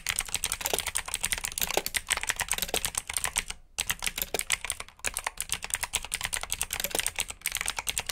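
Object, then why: Plastic mechanical keyboard. Fingertips type steadily on a black plastic backlit mechanical keyboard with blue switches, producing a fast stream of sharp, bright clicks with very short decay. Brief pauses in the typing occur around 3.7 and 5 seconds before the clicking resumes.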